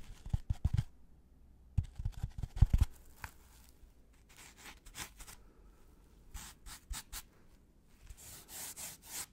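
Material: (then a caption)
Polystyrene foam. A white, brick-sized polystyrene foam packaging insert with two recesses is rubbed and scratched with gloved fingertips. The first few seconds bring quick, low, thumpy scratching bursts. These give way to softer, airy rubbing strokes with bright, hissy squeaks against a quiet background.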